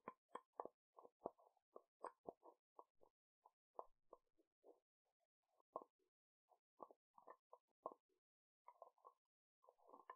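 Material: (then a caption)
Glass. Fingertips and nails tap quickly on the side and lid of a small dark brown/black glass jar with a black lid and white label, likely a candle, held in one hand close to the mic. About 26 short, dull, mid-pitched taps and clicks come in irregular bursts with brief pauses, each dying away almost instantly with no ring.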